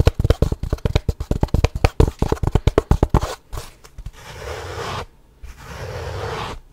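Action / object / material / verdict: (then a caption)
tap / small wooden box with sliding lid / wood / none. A small, light-colored wooden gift box with its sliding lid open, hollow inside with a dark insert holding cutlery, is held in both hands and tapped and scratched with fingertips and nails. About 24 quick, dry, low-pitched taps come first in a rapid stream, followed by two longer, steady scratching passages with a soft, grainy texture.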